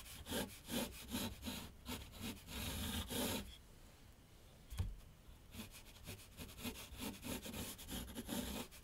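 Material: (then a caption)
Paper. A graphite pencil scratches sketch lines across a large, flat sheet of white paper on a board on an easel. Rapid, uneven, bright scratchy strokes come in bursts, with a quieter stretch in the middle broken by one soft knock before the scratching resumes.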